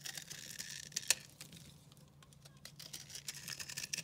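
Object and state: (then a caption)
Dry soap bar. A utility knife carves a solid, dry, recycled soap bar speckled green and purple, and flakes crumble off. Crisp, bright scraping and crackling ticks run throughout, with a sharp snap near the one-second mark and a steady faint low hum underneath.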